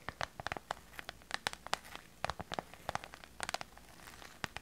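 A small, hollow clear PVC/vinyl glitter pouch is tapped and scratched with long purple nails, with a slight crinkle. About 23 quick, sharp clicks and scrapes come at an irregular pace over a quiet background. They are bright and crinkly, centred in the upper mids, and die away almost at once.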